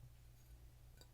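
A bisque-fired clay pottery piece, made lighter and slightly pink by its first kiln firing, is tapped once near the end, giving a single short, glassy clink. The clink sits over a steady low hum. The bright, ringing tap is the normal sound of fired clay, unlike the dull sound of unfired, air-dried clay.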